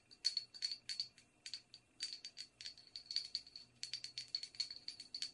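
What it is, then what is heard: Porcelain teacup tapped with fingernails. Long red nails tap and scratch the outside and rim of a small, empty, hollow white porcelain teacup with a silver band. The result is a quick, uneven series of bright, clicky taps and scratches with a faint high ring. Each tap dies away almost instantly, leaving short gaps of quiet.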